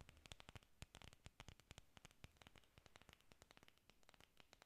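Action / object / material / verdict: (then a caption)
scrape / artificial foam or plastic orchid leaves / foam / none. Long pink nails scratch rapidly across the textured faces of a bunch of solid green artificial orchid leaves made of foam or plastic. The result is a quiet, dense stream of short, dry crackling scratches with bright, sharp edges and a soft low thump beneath each stroke.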